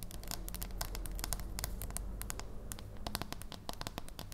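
Long nails tap and scratch on the back and edge of a solid dark chocolate bar held in the hands. The result is a rapid stream of sharp, bright clicks and scratchy scrapes over a steady low hum.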